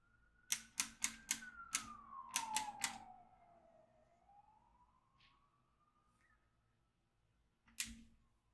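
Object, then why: Plastic magnetic drawing pad with steel beads. A yellow magnetic stylus is tapped and dragged across a notebook-size black plastic magnetic drawing pad, pulling small metal beads up through its grid of holes while the other hand's fingertips steady it. Nine sharp, bright clicks are heard, eight in quick succession in the first three seconds and one more near the end, while a faint tone glides down and then back up beneath them.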